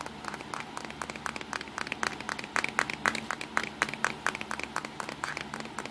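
Fingertips drum on the front casing and lens area of a small black plastic Nikon compact digital camera lying on a towel. A rapid, uneven stream of light, dry taps and clicks with very short decay, with no low rumble beneath them.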